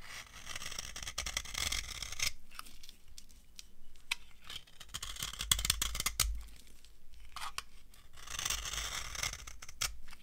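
A solid, dry orange soap bar held in the hand is scraped and shaved with a metal knife blade. Dry, crunchy scraping and crisp shaving bursts come in waves, broken by short quieter pauses and sharp bright clicks.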